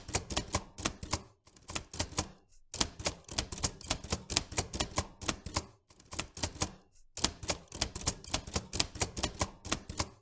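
Fingertips press the keys of a vintage metal manual typewriter continuously, striking the typebars. Quick, bright, dry clacks come in uneven runs, broken by short pauses. Each strike has a sharp high snap over a faint low thump and dies away almost at once.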